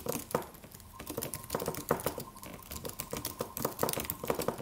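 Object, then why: Aluminium computer keyboard with plastic keys. Fingertips of both hands tap the white plastic keys of a slim, silver aluminum computer keyboard with a solid, low-profile body in a typing motion. A quick, uneven stream of short, crisp clicks with a midrange tone dies away almost instantly after each keystroke.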